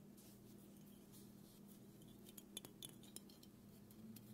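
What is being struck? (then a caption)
Aluminum aerosol can. Fingernails tap and scratch along the body of a small black aluminum aerosol can of dry shampoo, hollow and pressurized, held in both hands. Soft scraping gives way to several sharp, bright metallic clinks ringing near 3.5 kHz, each dying away almost at once, over a steady low hum.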